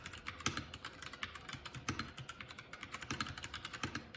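Both hands' fingertips type continuously on the plastic keycaps of a Keycool K84 75% mechanical keyboard, producing about 34 rapid, separate clacks over four seconds. Each keystroke is a short, bright click with a low thock beneath it that dies away almost at once, forming a steady, uneven clatter.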